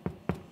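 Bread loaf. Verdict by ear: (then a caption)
Done. Two knocks on a freshly baked, well-risen loaf of bread give short, dull, low thuds that die away quickly. The knocking shows the bread is baked through and done; cut after cooling, it looks good inside and is crispy outside.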